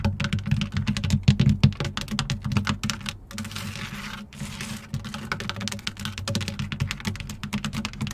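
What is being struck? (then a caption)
Textured plastic running board step. Long nails on both hands rapidly tap and scratch a long, fairly rigid black textured plastic side step on a Jeep, with a hexagon-patterned tread. Dense, fast, irregular clicky taps carry a hollow low thump, easing briefly into a quieter, steady, bright scratching hiss midway before the rapid tapping returns.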